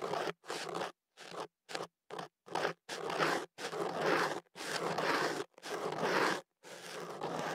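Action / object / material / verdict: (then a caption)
scrape / kenaf paper tube / paper / none. A thin pick, worked by fingers at the opening of a hollow white kenaf paper cone wrapped around a microphone and held steady, scratches the paper. It makes 11 dry, rustling scrape bursts separated by short silences, with the later strokes longer and fuller. Each burst is a broad papery crackle reaching from low-mid up into bright, crisp highs.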